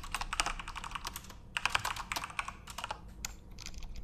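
Both hands type with their fingertips on a full-size Corsair RGB-backlit mechanical keyboard with plastic keycaps. A quick, uneven run of sharp, bright plastic clacks is heard, each tap dying away almost instantly. A few keystrokes stand out louder than the steady patter.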